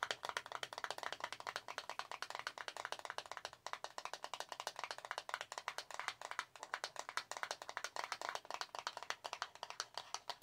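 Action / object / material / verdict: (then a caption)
tap / small cardboard box / cardboard / none. A small, hollow, pale green printed cardboard product box is held in the fingers and rapidly tapped and scratched with long nails. The result is a dense, steady stream of dry, crisp clicks and light scratching with a bright, papery edge, no low end, and almost no ring after each tap.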